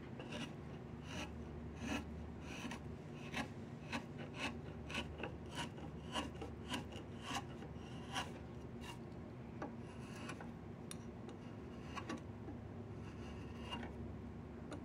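A flat chisel scrapes along a solid diamond willow walking stick in about fifteen short, separate strokes. Each stroke is a dry, raspy scrape with a bright edge, set over a steady low hum.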